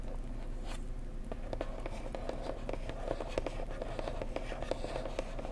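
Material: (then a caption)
Cardboard. A blue printed cardboard mug gift box, hollow and held at the sides, is tapped gently with long nails and fingertips. A steady run of soft, quick clicks and taps rings with a hollow tone around 520 Hz over a low, constant background rumble.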